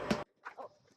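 An arepa (corn flatbread) is tapped and gives a short, hollow-sounding knock, followed by a couple of softer, quieter sounds. The hollow sound shows the arepa is cooked through and ready.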